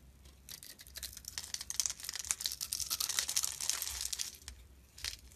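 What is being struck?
Bar of soap.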